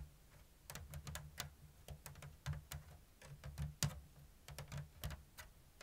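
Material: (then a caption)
Bamboo. Long blue nails tap and scratch a round, hollow basket woven from thin bamboo strips in an open diamond weave. About nineteen short, dry, bright clicks come at an uneven, unhurried pace, with brief scratchy rustles between them. A steady low hum runs underneath.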